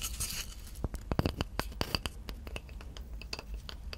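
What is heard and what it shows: Long nails scratch and tap across a plate-sized, solid round slice of tree trunk, moving over its flat face and the bark on its edge. The result is a rapid run of sharp, dry clicks and scrapes that vary in loudness, with a bright, rough hiss at the start. Each sound stops almost instantly, with no ring.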